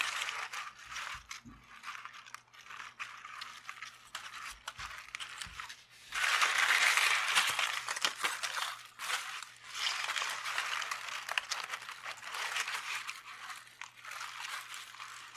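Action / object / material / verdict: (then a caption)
scrape / onion with dry papery skin / onion skin / none. A whole, solid medium red onion is held in both hands over a white surface while fingertips and short nails peel, scratch and crinkle its dry, papery outer skin layers. The sound is a steady stream of bright, crisp crackles and small ticks, with a low hum underneath. It swells into a louder, denser rustle from about six to nine seconds and again briefly after ten seconds.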